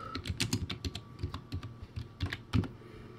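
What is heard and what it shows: Both hands type with their fingertips on a backlit, crappy plastic typewriter-style keyboard with round white plastic keycaps. The result is a quick, uneven run of hollow plastic clacks with dull low thumps and brief bright ticks, each one dying away almost instantly.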